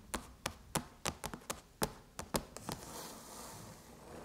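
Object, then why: Aluminum laptop lid. Long chrome nails tap the surface of a closed silver aluminum MacBook lid with the Apple logo, making 12 short, crisp taps that each ring only briefly. The taps come at an uneven pace over about three seconds, then give way to a soft, bright hiss.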